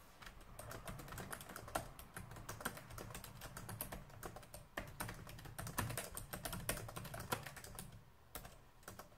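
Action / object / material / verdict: tap / plastic laptop keyboard / plastic / none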